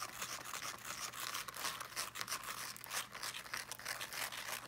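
Fingernails scratch quickly across the woven fabric mesh of a small teal fabric-covered speaker held in both hands. The result is a quiet, steady, dry rasping texture of fast, loosely regular strokes, bright and hissy with almost no low end.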